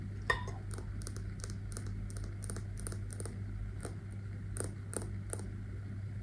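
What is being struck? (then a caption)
Glass candle jar with metal lid. A wax-filled glass candle jar with a brown metal lid is tapped and scratched with long nails on the lid and the base. Quiet, light clicking taps with bright, crisp tops and soft scratches sound over a steady low hum, with one sharper glassy clink near the start.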